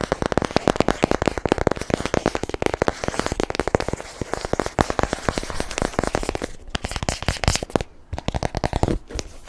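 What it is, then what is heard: Cardboard box tapped and scratched. A long, narrow, hollow white cardboard product box is tilted in the hands and tapped and scratched with short bare nails. A rapid, continuous stream of dry, hollow taps and scratchy crackles sounds, each one short and dead with almost no ring and a low-mid boxy body. The stream briefly thins out near the end before picking up again.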